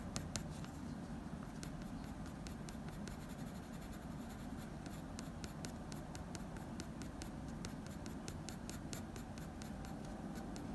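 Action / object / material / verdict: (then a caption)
scrape / wooden pencil on drawing paper / paper / none. A blue wooden pencil held in the fingers scratches fine fur strokes above the eye of a dog portrait on a sheet of drawing paper. The result is a quiet, steady scratching over a low rumble, with many short, bright pencil ticks running throughout.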